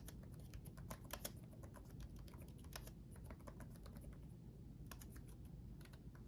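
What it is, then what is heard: Plastic laptop keyboard. Both hands type rapidly with their fingertips on the backlit chiclet keyboard of a black laptop, tapping its plastic keycaps on a solid chassis. Quick, short, bright clicks patter continuously over a steady low hum.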